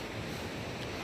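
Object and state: Nothing is struck.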